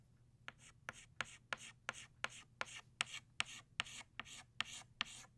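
An orange chalk stick, held in the fingertips, draws flower outlines on a flat black chalkboard. Fourteen short, quick scratching strokes come in a loose rhythm, each a dry, bright rasp that stops almost at once. A faint low hum sits underneath.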